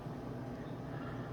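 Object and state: Nothing is struck.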